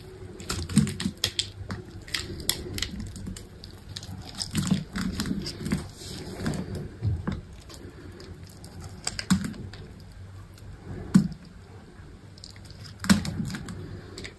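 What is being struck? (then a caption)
Bar of soap cut with a small knife. A small knife cuts and scrapes crumbly shavings from a solid, dry green soap bar held in the hand. Dry, crackly scraping and crisp cutting sounds run throughout, broken by several sharper snapping cuts with a dull low body. Each sound ends quickly with no ring.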